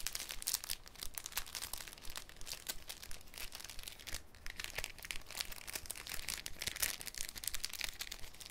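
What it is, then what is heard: Cellophane sheet crinkling. A thin, clear cellophane sheet is folded and scrunched between fingers over a wooden table. It gives a steady stream of bright, crisp crinkles and sharp crackles with no ring after each one.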